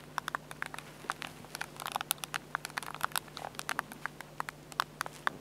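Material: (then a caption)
Plastic. Fingertips tap and scratch along the screen edge and back buttons of a small black Olympus plastic compact digital camera with a plastic and glass screen and a hollow body. The result is a quick, irregular run of dry, bright clicks and light scratchy patter, each dying almost instantly over a faint steady low hum.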